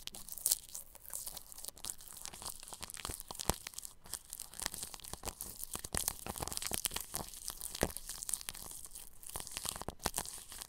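A bristle paintbrush brushes over clear plastic cling film stretched across a round microphone's grille. The result is a steady stream of bright, crinkly scratching and crackling, with many quick sharp ticks that stand out at irregular moments.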